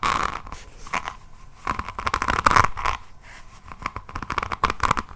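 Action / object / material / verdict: scrape / notebook cover set with resin rhinestones / resin / none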